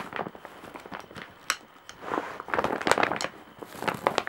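Long nails scratch across the surface of a large woven straw/jute bag with embroidery. The result is dry, crackling rasps and crinkly scrapes in short, closely spaced bursts, with a sharp tick near the middle and denser, brighter scratching toward the end.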